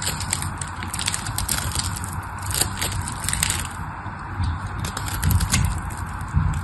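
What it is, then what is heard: Bar of soap being cut and scraped. A solid pink patterned bar of dry soap is held in the hand and cut and scraped with a black craft knife. A steady crumbly crackle runs throughout, with dull low thuds from the blade and bright, crisp shaving scrapes on top.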